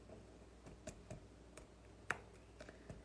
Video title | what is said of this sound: Kelly Loves Tupperware: No Knead Peasant Loaf | when your bread sounds hollow inside that's usually a good sign that it is done